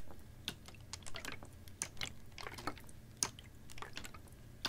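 A clear, ribbed PET water bottle, capped and about half full of water, is tilted, tapped and squeezed with fingernails. Sharp, bright clicks and crinkly plastic taps ring out over a soft low rumble, with faint sloshing of the water inside. Each tap dies away almost instantly.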